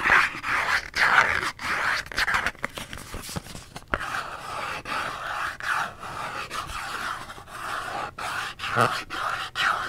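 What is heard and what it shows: A small, empty-looking Dove cardboard soap box, held in both hands, is tapped with long nails and fingertips. It gives quick, irregular dry taps and light scratchy rustles, centered in the upper midrange with almost no low end. Each tap dies away almost instantly.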